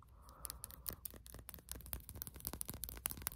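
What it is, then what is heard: Plastic lip balm tube. A slim white and yellow plastic lip balm tube is held horizontally and scratched and tapped with fingernails. Quiet, rapid clicks and scratchy ticks come in an uneven run, bright and dry with almost no ring, over a faint low background hum.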